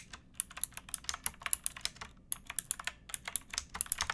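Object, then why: Mechanical keyboard with plastic keycaps. Both hands type on a pink backlit mechanical keyboard with plastic keycaps, striking with fingertips and nails. A quick, uneven run of short, sharp clicks with bright, high clatter; each keystroke dies away almost instantly over a quiet low background.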